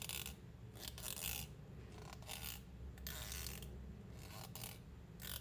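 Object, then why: Plastic hair comb. Fingernails and fingers scratch and rub along the teeth of a long, solid white plastic hair comb held in the hands. Bright, raspy bursts of scratching come and go over a steady low hum, with quieter stretches in between.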